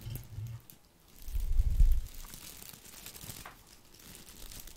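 A small, hand-sized ball of artificial boxwood with plastic leaves is held in the hand and moved and rubbed right next to the microphone, making a crinkly rustle. Soft crackling comes first, then a brief lull, then a louder stretch of handling with deep, muffled bumps. It settles into a quieter, steady rustle.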